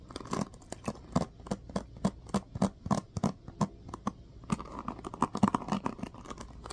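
Fingertips and nails strum and scratch across the dense teal-tipped plastic pins of a small black plastic paddle hairbrush held in hand. The result is a quick, irregular run of short, dry plucking clicks with a low, hollow body. Softer scratchy rustling fills the gaps between them.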